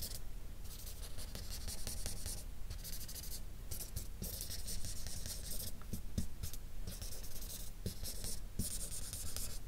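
A light-blue-capped felt-tip marker colors a sheet of flat drawing paper, drawing and rubbing strokes along the edges and across the interior. Bursts of bright, scratchy hiss rise and fall with each stroke, broken by brief soft ticks and short pauses. A steady low rumble runs underneath the whole time.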